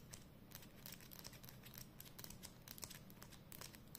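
Long nails tap and scratch along the label and barrel of a hollow black and red plastic Edding 300 permanent marker held up close. Quick, bright clicking and crinkly scratching repeat throughout over a steady low hum.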